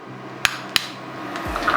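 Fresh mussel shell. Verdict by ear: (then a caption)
Hollow. A fresh mussel that is not fully closed is tapped before cooking, giving two sharp, bright clicks followed by a few fainter taps over a low steady hum. The shell sounds hollow, which means the mussel should be discarded.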